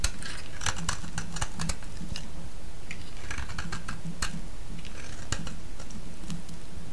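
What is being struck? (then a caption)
Bar of soap shaved with a blade. A palm-sized solid yellow bar of soap, held in the hand, is shaved into thin curls with a utility-knife blade. Quick, crisp scraping and cutting strokes repeat over a steady low hum, each stroke giving a short, bright rasp.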